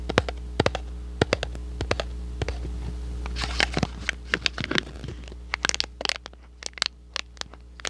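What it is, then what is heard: Empty cardboard box. A small, hollow, empty red and white printed thin cardboard box is scratched with short nails and crinkled with fingers close to the microphone. Sharp, dry clicks and taps come in an irregular series, with a denser scratchy rustle in the middle. A steady low hum runs underneath throughout.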